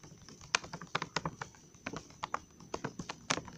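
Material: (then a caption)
Plastic. Fingertips and nails tap rapidly on the back of a full, glossy plastic Trolli gummy worm candy bag, around its barcode area. About 16 quick, dry, crinkly clicks are heard at an uneven pace, each bright and cut off almost instantly, with a soft low thud underneath.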